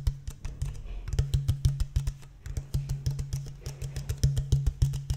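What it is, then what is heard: Empty plastic water bottle, hollow. An empty, clear, thin-walled plastic water bottle with a blue cap is held upright and tapped with fingertips and nails along its ridged body. About thirty quick, irregular taps follow in a rapid patter, each a hollow, low thump with a short clicky edge that dies away quickly.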